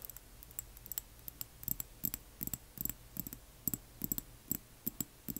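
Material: Glass.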